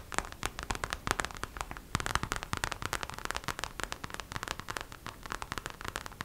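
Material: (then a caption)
Vinyl. Long acrylic nails rapidly tap and scratch the glossy surface of a hollow, hand-sized gold glitter vinyl gingerbread-shaped purse. The result is a dense, steady stream of sharp, dry clicks with a bright crackly edge, each dying away almost instantly.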